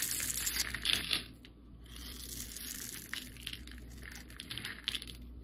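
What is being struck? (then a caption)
Bar of soap scraped with a metal blade. A metal utility-knife blade scores and carves layered shavings off a solid translucent yellow bar of soap held in the hand. Dense, bright scraping and crackling crunches are loudest in the first second and a half, then settle into quieter, steady scratchy carving with occasional sharper snaps.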